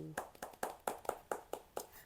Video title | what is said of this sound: Unbox Qiaodan Feiying PB 3.0 หรือ Kungfu Pro 3 คนสุดท้ายของไทย | คาร์บอนเวลาเคาะจะเป็นอย่างงี้นะอ่านี่คือแผ่นคาร์บอน